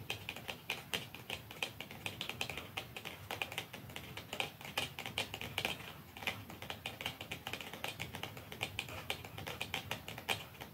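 Fingernails tap softly and slowly on a plastic mascara tube, making quick, light, bright clicks with a tone around 2.5 kHz. The many taps come in an uneven stream over a quiet background, each dying away almost instantly.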